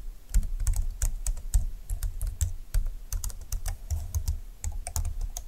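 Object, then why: Plastic scissor-key computer keyboard. Fingertips and long nails type on a full-size plastic scissor-key keyboard with a silver plastic frame, dark flat keys and a hollow plastic body. An irregular stream of quick, dry clicks is heard, each with a bright tick over a low, hollow thump that dies away almost at once.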